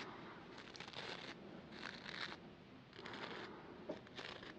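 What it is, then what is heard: Plastic toothbrush. Fingertips and long nails scratch and flick the green bristles of a small plastic manual toothbrush with a pink and white handle, held in both hands, and tap its handle. Soft, crisp bristly scratching comes in repeated bursts, with an occasional light tap. The sound stays quiet throughout.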